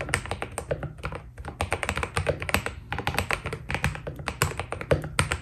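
Fingertips of both hands type steadily on a white Keydous NJ80 mechanical keyboard with PBT plastic keycaps, a steel plate and foam inside. Each keystroke is a short, dry clack with a deep thud underneath and a bright click on top, dying away almost at once. The irregular strokes blend into a continuous typing rhythm.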